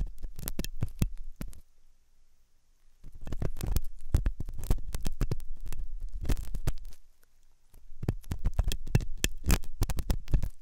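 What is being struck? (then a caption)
Silicone ear model with hollow canal, metal pick. A metal dental pick scrapes inside the hollow canal of a white, soft silicone ear on a binaural microphone. Close, muffled scratching and rapid rubbing clicks come through with a heavy, thumpy low end. The sound arrives in three bursts separated by brief quiet pauses.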